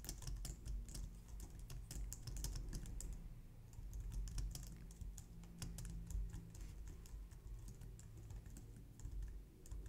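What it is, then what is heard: Plastic computer keyboard being typed on. Both hands type steadily on a white plastic low-profile wireless Logitech keyboard resting on a glitter mat, striking the keys with long painted nails and fingertips. The result is a continuous stream of quick, bright plastic clicks and taps at an uneven pace over a steady low hum.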